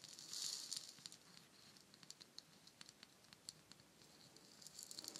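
A palm-sized, hollow, painted wooden shaker egg is tapped and scratched with long nails and shaken so its fill rattles. A soft, bright hiss of rattling fill swells early on, then gives way to scattered, crisp high clicks and light scratching. The rattling returns near the end.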